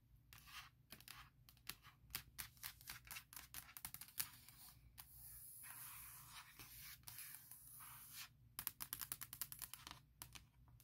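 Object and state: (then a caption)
Aluminum laptop lid. Long nails tap quickly on the lid of a closed, large MacBook Pro, near the Apple logo, on its hollow aluminum shell. Bursts of sharp, bright clicks with almost no ring come in fast runs, broken by a stretch of steady, hissy scratching in the middle before the quick tapping returns. The whole clip stays quiet.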